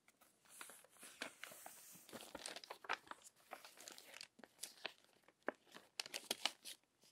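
Long nails turn and flatten the crinkled pages of an open glossy paper magazine. The result is a steady, bright crinkling and rustling with sharp crackles and quick swishes, with almost no low end.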